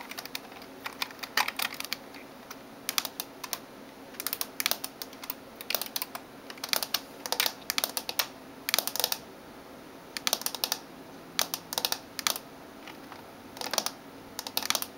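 Long nails type and tap on the keys of a backlit plastic gaming keyboard. Bursts of sharp, bright clicks and clacks come in quick clusters separated by short pauses, each click dying away almost instantly over a faint steady hiss.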